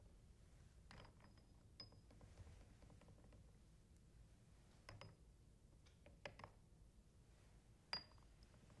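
Fingertips and painted nails tap and clink several empty, hollow glass test tubes standing in a white plastic rack. Sparse, quiet clinks ring out with a brief, high glassy tone over a soft low background hum, each note fading almost at once.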